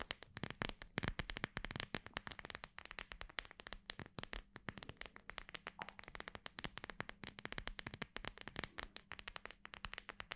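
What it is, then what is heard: Gel bead eye mask. Long grey nails tap and scratch across a hand-sized cooling eye mask held close up, its clear plastic front filled with small gel beads and trimmed in beige fabric. The soft, flexible surface gives dense, rapid, dry crackling clicks with bright, crisp edges and almost no ring. A faint low hum around 160–200 Hz sits steadily underneath.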